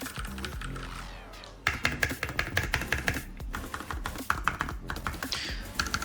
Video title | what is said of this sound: Geeky GK61 - UN CLAVIER MECA 60% - UNBOX TEST MODD | vous pouvez l'entendre ici ça sonne assez creux